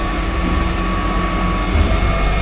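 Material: Nothing is struck.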